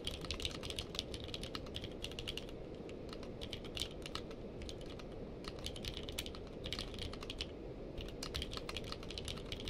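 Fingertips of both hands type continuously on a navy/purple-case mechanical keyboard with plastic keycaps. Rapid, bright, clacky keystrokes come in quick bursts with brief pauses, over a steady low rumble throughout.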